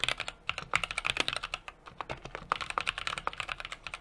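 A 60% mechanical keyboard with an aluminum case, brass plate and plastic keycaps is typed on steadily with the fingertips of both hands. Quick, bright clicks and clacks come in an uneven rapid stream, each dying away almost instantly with little low end.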